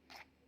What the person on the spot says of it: بصوا بقى اسمعوا كده صوت القرمشة والخرفشة. هو ده السمك المقلي المظبوط، مش شارب زيت وطالع مقرمش معايا من بره.